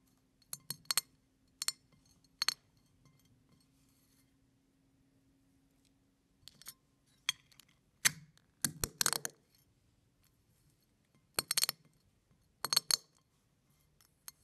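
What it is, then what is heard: Crushed eggshell pieces. Fingers press and crush a pile of brown eggshell fragments on a plate, producing short, bright, crackling crunches in scattered bursts separated by quiet pauses. The snaps are crisp and dry with almost no ring, over a faint low steady hum.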